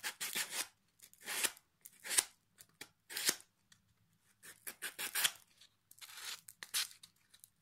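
Folded sandpaper held in the fingers is rubbed back and forth along the edge and face of a flat, solid pine plank with small metal hooks attached, resting in the lap. The result is a series of short, bright, raspy scratching strokes with quiet gaps between them.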